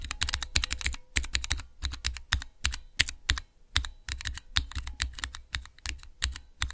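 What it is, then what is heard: Plastic mechanical keyboard switch tester. Fingertips type on a small, hollow plastic switch tester fitted with clear plastic keycaps over Cherry MX switches. A rapid, uneven run of sharp clacky keystrokes is heard, each a bright click over a low hollow thud, with very short decay and brief pauses between bursts.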